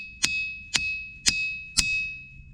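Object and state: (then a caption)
Ringing diabase boulder. A diabase boulder is struck at its sweet spot four times, each hit giving a bright metallic ding with a sustained high ringing tone around 2.6 kHz. The ring lingers between strikes and echoes through the trees.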